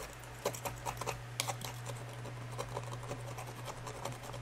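A small tool in gloved fingers scrapes along the dark repaired crack line inside an empty, hollow cream and brown glazed ceramic bowl. Short, bright clicking scrapes stand out over a steady low hum. The scraping is irregular, with the sharpest bursts near the start.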